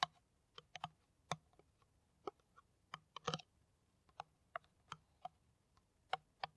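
An uneven run of sharp, crisp clicks, some doubled, centred around 1 kHz with a faint low thump beneath. Nothing rings; each tap stops almost instantly. It sounds like fingernails on the thin ridged wall of an empty plastic water bottle.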